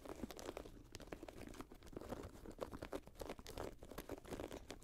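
Fingernails scratch the synthetic leather and mesh upper of a grey Jordan Flight 45 high-top sneaker resting on a lap. The result is a quiet, steady run of short, crinkly scrapes that blend into a continuous rustling texture.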